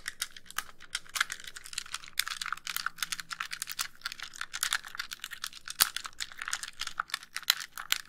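Long nails tap and scratch the front casing of a white, hollow plastic handheld game console. Dense, quick, bright clicks and scrapes follow one another with almost no ring, and a few sharper taps stand out.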